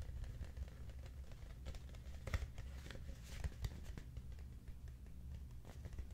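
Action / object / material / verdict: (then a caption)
tap / cardboard oatmeal canister / cardboard / none. A large, hollow, cylindrical Quaker Oats cardboard canister, held and tilted in both hands, is tapped with the fingertips. The result is a quiet, steady patter of soft, dull thumps with a boomy low resonance, plus a few louder taps and faint bright crinkly contact sounds.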